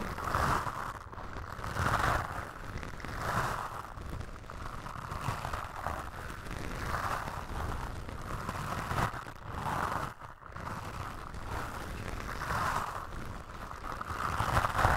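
Toothbrush bristles brush and scratch across a black foam windscreen on a microphone. The result is a steady, muffled scratchy rustle that swells in repeated strokes, centered in the midrange around 1 kHz, over a heavy low rumble, with a brief dip near the ten-second mark.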